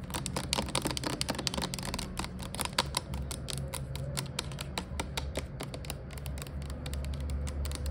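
Long nails tap and scratch along a clear plastic Glade air freshener refill bottle with liquid inside and a pink label, lying on its side. The fast, sharp clicks run together like typing on a keyboard over a steady low hum for the whole eight seconds.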